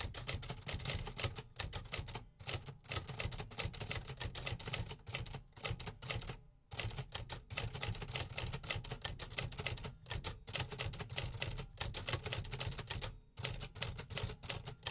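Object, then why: Metal typewriter. Fingertips type steadily on the keys of a 1950s vintage metal-cased typewriter, producing dense, rapid mechanical typebar strikes with bright clacks over a low body thump. Brief pauses break the typing near 2, 6.5 and 13 seconds before the quick, tightly damped keystrokes resume.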